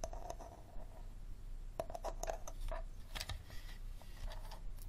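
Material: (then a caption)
Plastic. An empty, clear plastic bottle held sideways has its green plastic screw cap tapped and scratched with fingernails. Quiet, sharp clicks with a short, hollow ring around 660 Hz mix with light scratching over a low background rumble.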